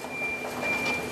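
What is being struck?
Nothing is struck.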